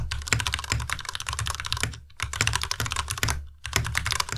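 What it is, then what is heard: Plastic mechanical keyboard. Fingertips of both hands type continuously on the plastic keycaps of a white tenkeyless Ducky Miya Pro mechanical keyboard. A fast, dense stream of bright clacky keystrokes with a low thocky body is broken by two brief pauses.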